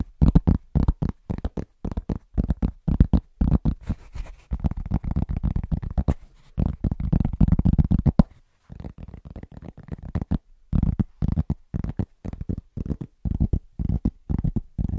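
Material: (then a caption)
Cork. Fingertips and short nails tap quickly on a large, thin, solid round pressed-cork trivet, with some light scratching. The taps are fast and irregular, making dull, soft, low thuds that die away almost at once, with a brief pause just past the halfway point.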